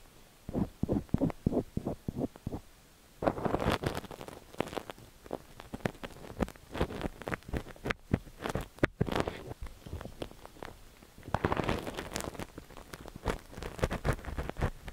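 A thin metal ear pick with a white wooden handle scratches inside the canal of a cream silicone dummy-ear microphone held by fingertips. Close, muffled scraping and rubbing crackles come through in quick bursts, with a steadier stretch of dense scratching and short pauses between.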